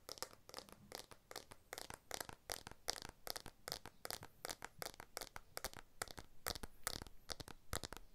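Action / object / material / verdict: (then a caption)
tap / smartphone, glass back and aluminium frame / glass / none. Fingertips and nails scratch and tap the glass back and camera bump of a blue iPhone 12 smartphone with an aluminium frame, held upright. The result is a rapid, irregular stream of dry, crisp taps and scratchy clicks. Each one is bright and short with almost no ring, and some sound slightly crinkly.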